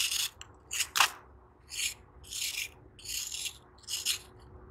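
A metal knife repeatedly scrapes and shaves a hand-held, elongated piece of a soft, solid, dry sand-cement block, and crumbling sand pours into a sand-filled tub. Short, bright, gritty rasping strokes come in uneven bursts with almost no low end, each one ending quickly against a quiet background.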